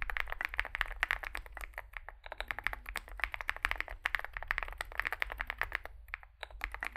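Both hands type continuously with fingertips on a compact 65% Zoom65 mechanical keyboard, which has an aluminium case, foam filling, lubed switches and SA plastic keycaps, and rests on a desk mat. A rapid, uneven stream of short, muted clacks peaks around 1.8 kHz with bright edges, and each keystroke dies away almost instantly. A faint, steady low hum runs underneath.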